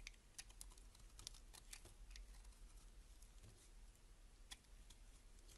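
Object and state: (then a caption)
Laundry soap bar being scraped. A solid beige laundry soap bar held in the hand has its edges and face scraped with a box-cutter blade. Quiet, crisp scraping clicks come in quick irregular bursts with bright high-frequency crackle over a low background hum. The hits are short and dry, with almost no ring.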